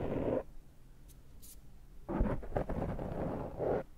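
Fingertips scratch and pick at a dark foam microphone windscreen held in one hand. A short burst of soft, low, muffled scratching comes first, followed by a quiet pause with faint high ticks. A longer stretch of dense rustling scratches then runs to the end.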